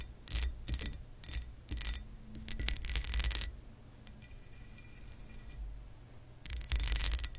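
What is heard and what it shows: Long acrylic nails tap and scratch the lower textured part of a pressed glass lamp base. Quick bursts of bright, high glassy clinks and scraping come in clusters, with a faint high ring and softer rubbing in between.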